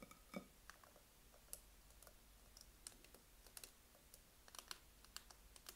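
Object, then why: Plastic-shell dumbbell weight plates. Long nails tap and scratch the black textured plastic-shell plates of an adjustable dumbbell with a red grip, resting on the floor, the plates likely filled. Quick, dry, high clicks and taps come in an irregular patter over a low, steady hum, each dying away almost at once.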